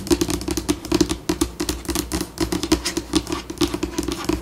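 Long pink acrylic nails on both hands tap and scratch across a flat, solid white laminate tabletop. A quick, uneven patter of sharp clicks mixed with scratching changes pace, each tap dying away almost at once with a faint tone near 330 Hz.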